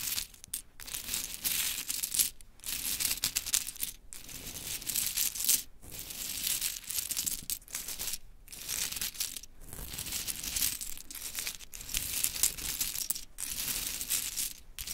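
Long chrome nails rake and scratch through a loose pile of small pink mini wooden clothespins resting on glittery cloth. The result is a dense, bright clatter of rattling, clicking and scraping pegs, broken by a few brief pauses.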